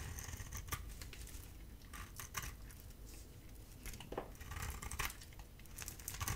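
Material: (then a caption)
Soap. A metal utility blade scrapes a hand-held, solid oval bar of dry soap with a blue coating and cream core, sending flakes falling. Quiet, dry, crisp scratching strokes repeat in quick succession with bright, brittle edges over a low, steady rumble.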